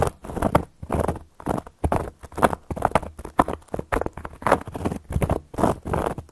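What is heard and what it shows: Long gold metal claw nail caps scratch and tap across a solid, round, flat cork board. Quick, dry bursts of scratching and tapping come in an uneven rhythm, each dying away almost instantly. The sound is dull and mid-toned, with a woody knock around 700 Hz and almost no high-end brightness.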